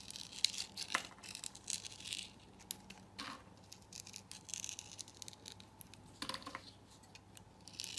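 A utility knife blade cuts and scrapes a hand-held solid purple soap bar with a rough crust. The result is quiet, dry, bright scratching and crumbling, with short irregular bursts and a few sharper cuts.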